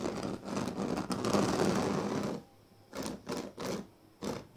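Fingers scratch and rub across the weave of a large, flat woven sleeping mat made of thin dyed reed strands. A dense, continuous rasping scrape runs for about two seconds, then drops to near silence before four separate short, bright scratching strokes.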